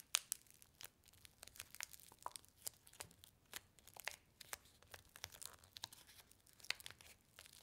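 A single paper-and-foil laminated instant soup sachet filled with dry powder is rolled up tightly between fingertips with long nails, crinkling and crushing it. Quiet, bright, dry crackles and tearing-like rustles come in a steady stream of sharp, short bursts with almost no low end.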